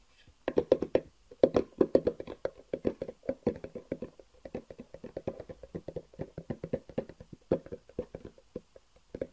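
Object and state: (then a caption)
Hollow cardboard box. A long, hollow black cardboard box with white edges is held horizontally and tapped on top with the fingertips. Dozens of quick, dry taps come in uneven bursts, each giving a short, hollow, mid-pitched knock that dies away almost at once.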